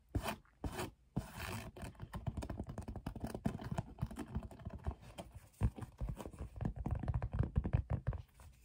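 Long painted nails scratch and tap the woven sides of a medium teal woven fabric storage basket, hollow and apparently empty, as it is held and handled on a wooden table. A dense run of fast, dry scratching and short tapping follows, with bursts of scraping and no ringing after each touch.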